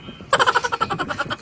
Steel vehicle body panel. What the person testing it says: pinupukpok ko yung mga bakal kung maraming kalawang